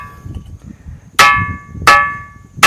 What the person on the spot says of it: लेकिन इस चट्टान में जो है घंटे जैसी आवाज आती है